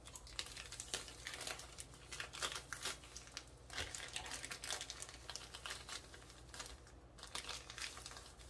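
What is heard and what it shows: A small clear plastic bag full of fine white sand is squeezed and rubbed by fingertips and hands on a bamboo tray. It gives continuous bright crinkling with the soft hiss of sand shifting inside. Quick rustling bursts run throughout against a faint low hum.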